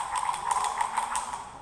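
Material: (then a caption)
Glass. A glass holding small colored pencils is shaken, and the pencils rattle against the glass and vibrate to show that sound comes from vibrating objects. A continuous, fairly quiet clattering rattle runs throughout, centered on a steady ringing tone around 1 kHz with bright tapping accents, and it fades slightly at the end.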